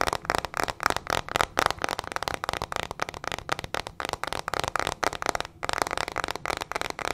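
Long fingernails rapidly tap and scratch a small teal plastic hairbrush with metal pin bristles and a hollow plastic body. The result is a dense run of fast, dry, crackling clicks and scrapes with a bright, hollow plastic tone centered around 1.3 kHz, each sharp and dying out instantly. Brief gaps break up the quick bursts.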